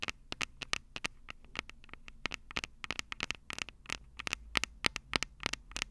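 Long purple acrylic nails tap and scratch the two metal microphone capsules of a small black plastic Tascam DR-05 handheld recorder held upright. About 33 sharp, bright clicks and scrapes come in an irregular, uneven rhythm, each dying away almost instantly. A faint low rumble sits underneath.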